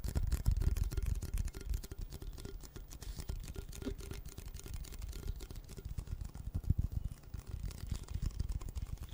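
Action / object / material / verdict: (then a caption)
tap / cardboard chip can with metal base / cardboard / none. A red Pringles can, a hollow cardboard tube with a metal base, is held horizontally while fingertips tap and scratch its paper-wrapped side. The result is a dense, irregular run of soft, dull thumps and scratchy rustles, almost entirely low-pitched. The sound is louder at the start and settles into a steady, quieter patter.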